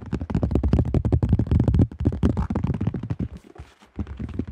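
Fingertips tap rapidly on the flight plate and underside of a cream AGL plastic disc golf disc with a thin shell. The result is a fast, uneven stream of short, dry, hollow taps with a low thump. The tapping softens and thins out briefly near the end before picking up again.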